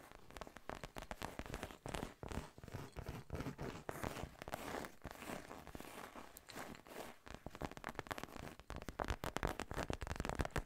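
Long painted nails scratch and tap across a small, soft, hollow cream-colored fabric cosmetic zip pouch with a puckered, seersucker-like texture and a pink embroidered monogram, and the zipper edge may also be handled. The result is a dense, continuous run of quick, dry crackling scratches and soft taps with a low, muffled body and very short decay.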